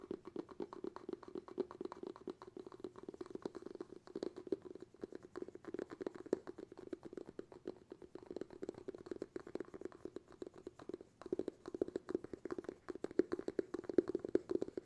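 Fingertips tap rapidly on the bamboo lid and rim of a glass jar held in both hands, lid forward. The quiet taps come in a dense, steady patter, each a short dry knock with a hollow tone around 360 Hz and almost no ring, growing a little louder toward the end.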